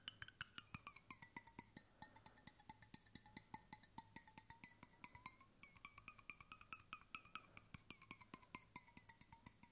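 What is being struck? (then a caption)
Stainless steel water bottle. A hollow stainless steel water bottle, held sideways near the mic, is tapped by fingertips on its body and base in a quick, steady run of around seventy taps. Each tap gives a short, bright metallic ping with a ringing tone near 1.3 kHz and high overtones. The pitch shifts slightly as the taps move between the body and the base.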